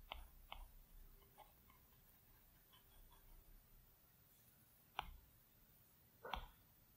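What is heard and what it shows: A plastic Apple Pencil tip taps and clicks on the large, flat glass screen of an iPad Pro. A few sharp, dry clicks with a bright edge stand out, separated by faint, soft tapping and stroking on the glass in a quiet setting.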